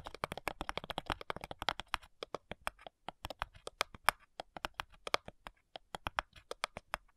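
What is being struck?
Thin wooden cigar box.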